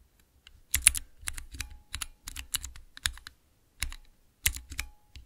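Fingertips type on a small, clear acrylic 9-key Cherry MX mechanical keypad. Quick bursts of sharp, bright plastic clicks land over a soft low thock, with short pauses between groups of keystrokes. Each press dies away almost instantly.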